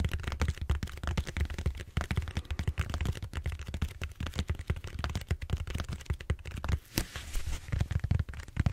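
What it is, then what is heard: Styrofoam foam roller. Fingertips tap and scratch the surface of a large purple bead-foam styrofoam roller held horizontally. A dense run of quick, dry taps and crackly scratches has a dull, low thump beneath them, and each sound dies away almost instantly.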